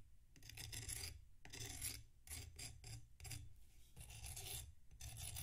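A metal knife scrapes the surface of a solid packed sand block resting on a plate. Gritty, bright rasping strokes come in bursts separated by brief pauses, each over a low, rough rumble. The grainy scraping stays steady and close throughout.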